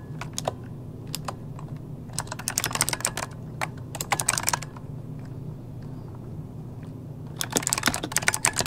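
Both hands type rapid key presses with their fingertips on an RGB-lit plastic mechanical computer keyboard resting on a desk, a solid device with hollow key switches. Bursts of sharp, bright clicks come in clusters over a steady low hum, with quiet pauses between them and a final flurry at the end.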